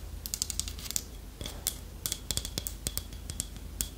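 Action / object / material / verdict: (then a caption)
tap / small carved wooden figurine / wood / none. Long nails tap rapidly on the beak and body of a small, solid, polished dark wood toucan carving held in the hand. The result is a quick run of sharp, bright clicks, each dying away almost instantly, over a faint low background rumble.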